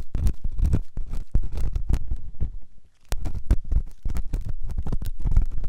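A metal ear pick scratches inside the ear canal of a white solid silicone ear on a binaural microphone. It makes a dense run of deep, rumbling scrapes and scratchy taps that go briefly quiet near the middle before resuming.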